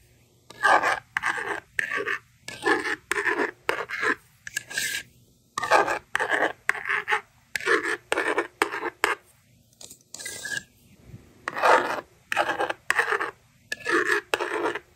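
A yellow plastic stylus, held by fingers with long red nails, scratches numbers in continuous strokes across a handheld plastic magnetic drawing board with a honeycomb screen. The result is a series of short, dry, raspy scratching bursts with brief silent gaps between strokes, centered around 1.6 kHz with bright edges and almost no low end.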